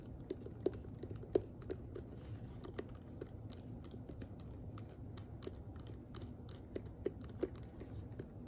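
Long nails tap quickly on the hollow, curved back of a hand-sized pink plastic detangling hairbrush. The result is a quiet, steady patter of dry, clicky taps with a slight hollow tone around 400 Hz, each dying away almost instantly. A few sharper, louder taps stand out over a low, soft rumble.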